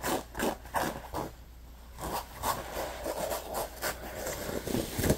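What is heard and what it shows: Short nails scratch along the stitched top edge of an orange neoprene lunch bag in close-up. Quick, rough scraping strokes repeat at an uneven pace, with a brief quiet gap early on and a faint steady low hum underneath.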